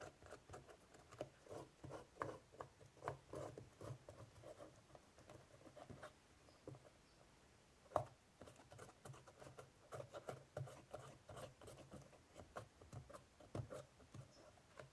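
A cotton swab held in the fingers scratches and rubs into the crevices of an ornate woven straw basket lid with raised braided straw swirls, on a hollow basket. It makes a quiet, dry, steady patter of short scratchy rustles centered in the midrange, with one sharper scrape just before the 8-second mark. Each stroke dies away almost instantly.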